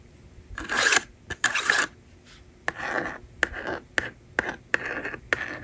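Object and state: Plastic magnetic drawing board.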